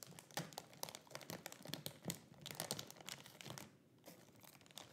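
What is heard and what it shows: Fingertips press and rub a flat, soft leggings package sealed in a thin clear plastic bag with a cardboard label and barcode, lying on a grey cloth surface. Dense, bright crinkling comes in quick irregular bursts of crackle, with a brief quieter lull near the end before the rustling picks up again.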